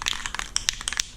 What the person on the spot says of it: you hear that marble inside there what that's doing is that's mixing that paint up